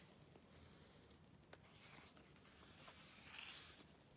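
Long nails flip the thin pages of an open glossy paper Vogue magazine, the July 2013 issue, resting on dark cloth, and fingertips smooth the pages down. The sound is a quiet, bright rustling and swishing of paper with a few soft clicks from the nails.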